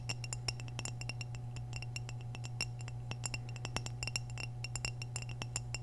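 Long nails tap quickly and irregularly on the surface of an orange glazed hollow ceramic vase held tilted, producing bright, short clinks that die away almost at once. A steady low hum runs underneath throughout.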